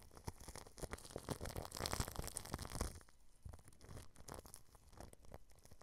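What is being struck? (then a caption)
Plastic cling film stretched over a microphone. A small paintbrush brushes back and forth over clear plastic cling film wrapped over a microphone grille, making dense crinkling, crackling strokes with a low rumble. The brushing is louder and fuller for the first three seconds, then continues softer and more scattered.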